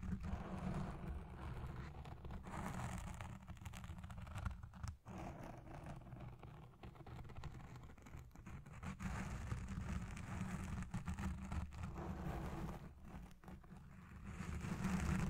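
Long red nails on both hands scratch fast over a soft, porous black foam windscreen dome on a Blue Yeti Pro microphone. The result is a dense, continuous rustling scrape with a deep, muffled rumble, swelling and easing slightly over the clip.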